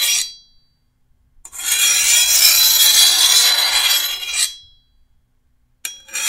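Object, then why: Steel machete blade. A hand-held steel file is rasped along the edge of a long, thin, solid steel machete blade held over a wooden table to sharpen it. A long, steady, bright scraping stroke of about three seconds sits between the cut-off tails of shorter strokes at the start and end, with a hissy metallic rasp and almost no low end.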